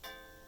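A cast iron skillet held on the palm of a hand is thumped once on its rim. It gives a clear, bell-like ping with a high tone that rings on for about half a second. The ringing shows the skillet is uncracked.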